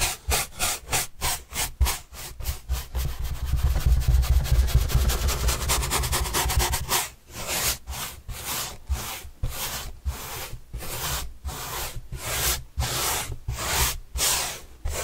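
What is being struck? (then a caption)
Corrugated cardboard panel. Paintbrush bristles are rubbed across a large, white, printed corrugated cardboard box panel held upright, making dry, scratchy brushing strokes. The strokes come in a steady rhythm at first, then blur into a faster, denser rubbing with a low rumble in the middle. They finish as slower, separated swipes with a bright, papery hiss.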